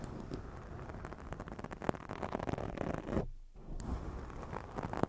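Hands cup and rub a black foam microphone windscreen while long nails scratch across it, making dense, muffled crackling and rustling that sits mostly in the low range. The scratching runs almost continuously, with a brief hollow lull just past the three-second mark before the rubbing picks up again.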